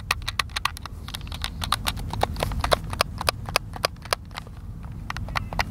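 Thumbs rapidly press and click the buttons of a hand-sized, hollow white plastic Xbox controller held in the hands outdoors. A fast, uneven stream of short, sharp, bright clicks dies away almost instantly, over a steady low rumble.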